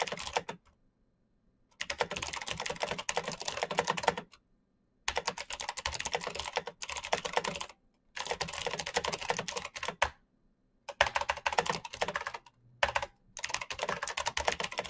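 Fingertips type fast on a full-size black plastic Razer mechanical keyboard with clicky green switches and RGB backlight. Bursts of rapid, bright, crisp key clicks run for a few seconds at a time, separated by short silent pauses.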